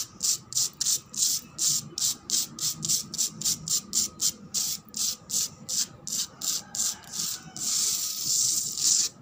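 A cement floor is scratched in a quick run of short, separate strokes that sound like rubbing or sanding. The bright, hissy rasps sit almost entirely in the high range, then the sound merges into a longer continuous scrape near the end.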